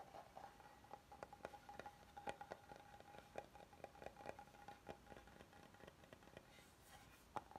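Fingertips tap and nails scratch along the edges and face of a flat, oval, solid wooden serving board. About twenty quiet, dry taps fall at an uneven pace over a soft scratching patter, each dying away almost instantly, with a faint steady tone near 820 Hz running underneath.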